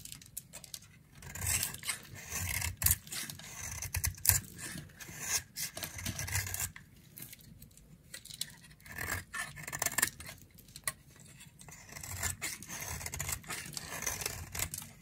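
A flat metal blade scrapes and carves thin curls off the face of a solid, palm-sized oval bar of dry green soap held in one hand, with the flakes piling up below. The clip is full of bursts of dry, bright scraping and crisp shaving, with a soft low rumble underneath and brief quiet gaps between strokes.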